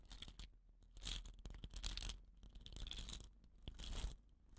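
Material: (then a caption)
Bamboo. Fingertips and nails scratch the woven rattan binding of a hollow, dot-painted bamboo rain stick and roll the tube. The result is soft, irregular, bright scratchy rasps that swell and fade in several bursts, with faint low handling bumps beneath.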